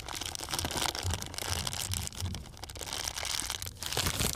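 A thin, empty, transparent plastic bag is held close up and crumpled by hand, giving a continuous crinkling and crackling with bright, hissy texture and a soft low rumble underneath. The crinkles come in dense, overlapping bursts that swell and fade throughout without clear pauses.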